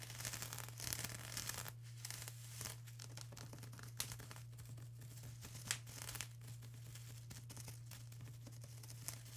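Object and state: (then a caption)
Plastic bubble wrap. Long acrylic nails on both hands scratch and tap across a flat sheet of plastic bubble wrap. The result is quiet, bright, crinkly scratching with scattered soft taps, over a steady low hum throughout.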